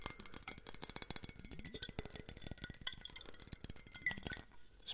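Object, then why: Glass bottle. A full-size glass whiskey bottle with an orange label and orange capsule, held in one hand and tilted sideways, is tapped on the glass by the fingertips and nails of the other hand. Dense, quick clinking taps follow one another with short, bright ringing tones around 2 kHz, over a faint low rumble.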